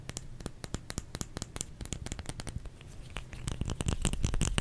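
Fingers tap rapidly on a solid bar of soap. Each tap gives a short, dull low thud with a faint bright click and almost no ring. The irregular patter grows louder toward the end.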